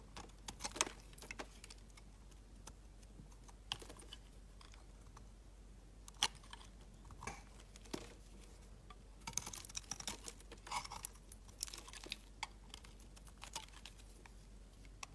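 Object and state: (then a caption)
Glycerin soap bar being shaved. A utility knife blade shaves a solid, translucent orange glycerin soap bar, making quiet, crisp scraping and cutting sounds. Short, bright clicks and scratches come in irregular bursts, with the busiest stretch near the end.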